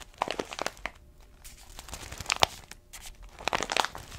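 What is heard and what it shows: An orange paper-foil coffee bag with a black bottom band, about 25 cm tall and filled with coffee beans, is held and squeezed with both hands and long nails. It gives bursts of bright, crisp crinkling with sharp crackles in between, separated by short quiet pauses.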